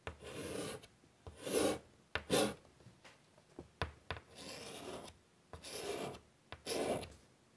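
A hand draws with chalk on a large flat black chalkboard in a light wood frame lying on a table. The chalk scratches across the board in a series of raspy strokes with bright, gritty scraping, broken by short sharp taps and pauses between marks.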